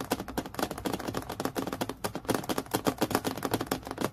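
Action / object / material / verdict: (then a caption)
tap / acrylic plastic clipboard / acrylic plastic / none. Long natural nails tap quickly on a thin, solid, transparent acrylic plastic clipboard with a metal clip, lying flat on a dark surface. The result is a dense run of crisp, clicky taps with a hollow plastic tone around 270 Hz. Each tap dies away almost at once.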